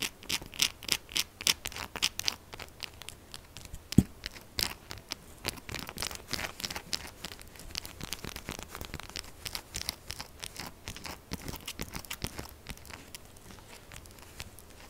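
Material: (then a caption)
Soap. Long acrylic nails rapidly scratch and tap a solid, purple, rectangular textured soap bar that is held and resting on the table. The result is a dense stream of quick, bright, dry clicks and scratches that die away almost instantly. One sharper tap stands out near the four-second mark.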